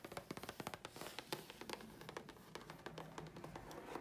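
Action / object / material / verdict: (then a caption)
tap / thin grey chipboard sheet / chipboard / none. A thin, flat grey chipboard sheet is held flat and tapped with long fingernails on its face and edge. Quick, dry, crisp clicks come in a rapid, uneven stream with soft scratchy texture between them. Each tap dies away almost at once.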